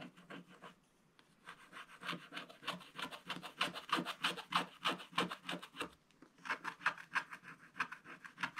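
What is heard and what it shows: A wooden stylus scratches the black coating off a scratch-art book page while the other hand rests on the book to steady it, leaving shavings on the page. Quick, dry, bright scraping strokes repeat at about three per second, with short pauses near the start and around six seconds.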